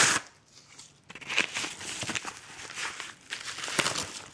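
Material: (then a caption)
Kraft paper. Fingers scratch and crumple the corner and surface of a yellow Amazon kraft paper padded mailer envelope. A loud, bright crinkle opens the clip and fades into a quieter stretch. Dense, dry scratching and crackling then follows, with sharp papery snaps standing out.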